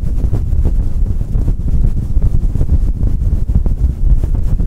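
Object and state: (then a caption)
Fluffy faux-fur microphone windscreen being rubbed. Fingertips of both hands rub and scratch a fluffy synthetic faux-fur windscreen on a Blue Yeti microphone head. The result is a dense, continuous low rumble of close-up brushing and thumping with almost no high-end content.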